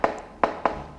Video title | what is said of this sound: Ma Peugeot 103 est Morte ☠ !!! et j'offre mon 103 RCX $$ | on a quand même une sensation que ça sonne creux